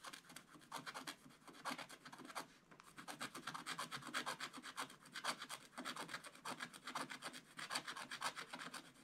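A wooden stylus scratches the black coating off a scratch-art card page in a spiral-bound book lying flat and solid on a table. Quick, irregular scratchy strokes follow one another at about two per second, each a dry, bright rasp with a brief pause near the middle. The coating is scraped away stroke by stroke.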